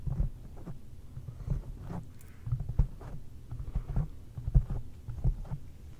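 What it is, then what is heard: Foam microphone windscreen. Long painted fingernails and fingertips of both hands tap a large round black foam windscreen covering a microphone. The taps come through as deep, muffled thumps in an irregular rhythm, each one dying away almost instantly with no bright edge.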